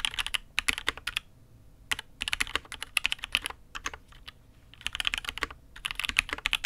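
A Matrix 8xv 2.0 custom mechanical keyboard with INK Black, an aluminium case and red and grey ABS keycaps is typed on with the fingertips of both hands. Bright, crisp key clacks come in quick bursts separated by short pauses, each stroke sharp and dry with almost no ring and little low end.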